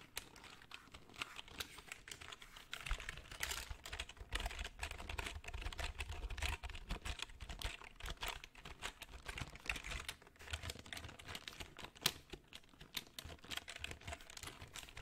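Fingertips tap and type on the plastic keys of a full-size black plastic computer keyboard held up in the air. Rapid, uneven runs of short, bright plastic clicks continue for the whole clip, each dying away almost instantly, with a soft low thump beneath the busier stretches.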